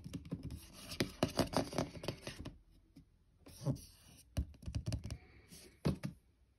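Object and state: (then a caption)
Cardboard shoe box, hollow. Fingertips tap on a closed, hollow white cardboard shoe box, first on the lid and then on the labelled end panel. The quiet, dull taps have low, hollow thuds that stop almost instantly. A dense run of taps is followed by a brief near-silent pause, then a sparser set of knocks.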